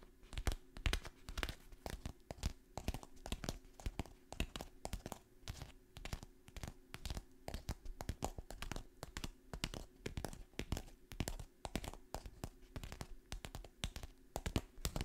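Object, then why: Kraft paper stand-up pouch. A partly filled kraft paper stand-up pouch with its top open is handled, crinkled and scratched with long nails. Dense, rapid papery crackles and sharp rustling bursts continue throughout over a faint, steady low hum.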